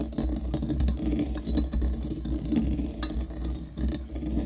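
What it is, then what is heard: Brass mortar grinding coffee beans. A pestle knocks and grinds against the metal interior of a small hollow brass mortar held in the hand and filled with coffee beans. The sound is a steady run of dull, closely spaced knocks with a low hum, a faint metallic ring and brief bright crunches of beans breaking.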